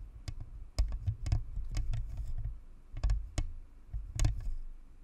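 Long manicured nails rest on the upper shell of a white, hollow, spherical plastic-and-metal Blue Snowball USB microphone, scratching it and tapping it with light clicks. Short, sharp clicking taps sound over a deep, boomy low rumble of scratching on the shell, and each tap dies away almost at once.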